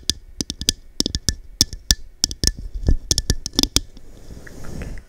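Long dark nails tap a small, hollow, empty textured cut-glass cup with a diamond pattern held over the mic, making 18 quick, dry clicks with a bright, high glassy tick and a low thump. Each hit dies almost at once. In the last second the tapping gives way to a soft, steady rustle before it cuts off.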